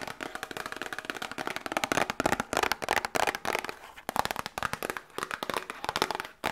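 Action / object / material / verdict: tap / small cardboard medicine box / cardboard / none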